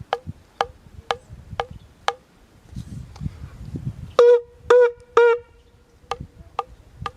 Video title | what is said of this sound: How to Blow a Shofar | by tapping your hand on the shofar, and you can hear that note sound